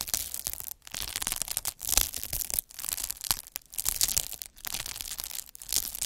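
A derma roller with metal microneedles, held by a hand with long nails, is rolled across a large clear sheet of air-filled plastic bubble wrap. It makes bright, dense crinkling and scratching in repeated bursts, with brief quiet gaps between strokes.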